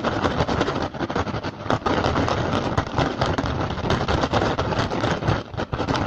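Both hands tap slowly with the fingertips and scratch with the nails on an upturned, hollow, empty woven rattan basket. The result is a dense, steady stream of dry crackling taps and rasping scratches with a low, hollow thump underneath and a bright, papery edge. The level stays fairly even and dips only briefly in a few spots.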